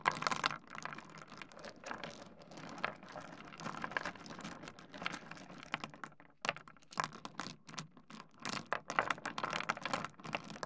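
Fingertips scratch into a heap of small solid stone pebbles on a wooden desk and rub the stones together. The result is a dense run of fast, dry clicks and gritty scraping, bright and crisp with almost no low end. A brief quiet pause falls just past the middle before the clatter resumes.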